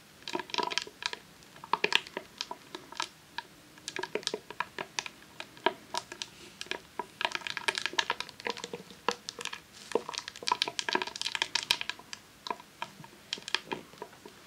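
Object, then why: Rolled vinyl sheet in plastic sleeve. Long nails tap and scratch a long roll of vinyl adhesive sheet in a clear plastic sleeve resting on a tablecloth. The result is a rapid, irregular stream of crisp, dry clicks and crinkly scrapes, bright and papery with no low end. Each touch dies away almost at once, with denser bursts of activity coming and going.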